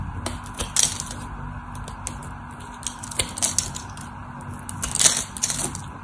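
A craft knife cuts into the scored face of a solid white soap bar, and crumbly cubes break off. Bright, crisp cracks and crumbling scrapes come in clusters, the sharpest near 0.8, 3.2 and 5.1 seconds, over a low steady background hum.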